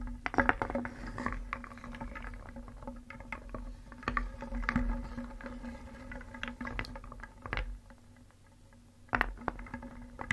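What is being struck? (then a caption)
Small painted wooden pieces in a wooden bowl. A wooden spoon held by the fingers vigorously stirs a wooden bowl of small solid painted wooden toy pieces, so they knock together. The result is dense, dry clacking and rattling with a steady low hum beneath. The stirring thins to a quiet lull near the end, then a burst of sharp knocks returns.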